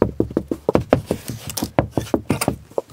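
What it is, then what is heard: Hollow closet wall. A closet wall is tapped about 15 times in quick, irregular succession, each tap a short, dull, hollow knock with a mid-range tone and almost no ring. The wall sounds hollow all along, though there should be no room behind it.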